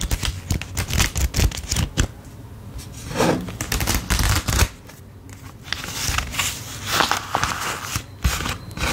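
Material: Paper.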